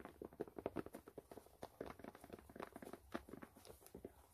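Long nails scratch quickly across the white canvas side of a low-top sneaker. A quiet, dense run of short, dry scraping strokes sits mostly in the low mids, with soft rustle and no ring between strokes.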